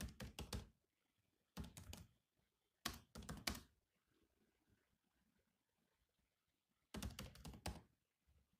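Fingertips type on the black plastic keys of a silver laptop keyboard, producing quick, soft, thunky taps with a light bright click. The taps come in four short bursts, with a long quiet pause before the last burst and a faint tap at the very end.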